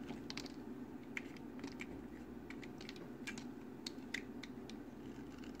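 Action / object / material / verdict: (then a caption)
scrape / bar of soap cut with a blade / soap / none. An orange box cutter's metal blade slices and scrapes across a hand-held, hand-sized solid green soap bar scored into a grid of small squares, so small cubes crackle off and fall onto the table. Short, dry, bright clicks and crackles pop out irregularly over a steady low background hum.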